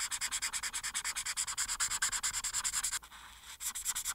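A marker tip held in the hand is rubbed in quick, short strokes across a thin printed paper coloring page lying flat and solid on a dark board, near the chin of the drawing. About 33 bright, scratchy strokes come in a steady back-and-forth rhythm with almost no low end. They break into a brief quieter rub just after the three-second mark, then resume.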